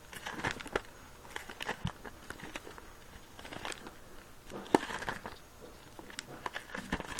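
A small, filled red latex balloon is squeezed and kneaded close up with moist palms and fingertips. The rubber gives soft crinkling rubs and sticky crackles, with short squeaks popping out, the sharpest one a little past the middle.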